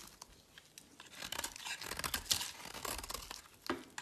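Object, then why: Bar of soap carved with a metal blade. A solid teal bar of soap, held in the hand, is shaved and carved with a metal utility blade. The result is a quiet series of dry, crisp scraping and flaking strokes, bright and hissy with almost no low end. The strokes come in short, closely spaced bursts, and one sharper scrape stands out near the middle.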